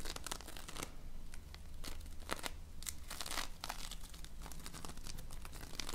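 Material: Polystyrene beads.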